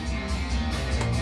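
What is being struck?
Nothing is struck.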